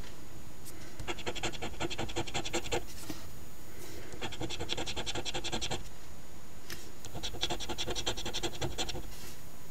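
A coin edge held in the fingertips scrapes the latex scratch-off coating from the number circles, row by row, on a thin, flat, paper Ontario OLG $10 Wish List instant scratch lottery ticket. Three bursts of quick, rhythmic, bright rasping strokes are separated by short pauses, over a low, steady background hiss.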